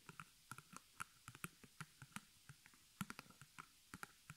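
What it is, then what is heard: Stretched canvas on wooden frame tapped. The long nails of both hands rapidly tap the front of a small white stretched canvas on a hollow wooden frame, embroidered with black thread and held upright. About nineteen quiet, dry clicks come in an irregular patter, each pairing a soft low thump with a sharp mid-high tick and a bright edge. Each tap dies away almost instantly.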